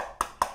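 Two quick knocks on the aluminum casing of a Fosi Audio P2 budget hybrid tube amplifier give short, dry taps with a bright midrange tone around 1 kHz that die away almost at once. The enclosure sounds solid: it is all aluminum, with side walls about 1.8 mm thick and a front and back plate about 4 mm thick, and it shows no flex.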